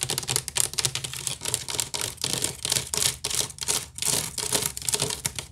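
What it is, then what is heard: Wicker basket being scratched. Long nails scratch quickly near the rim and along the side of a large, hollow woven wicker basket. The result is a rapid run of dry, crackling scratch strokes, bright and hissy with very little low end, each burst cutting off sharply between strokes.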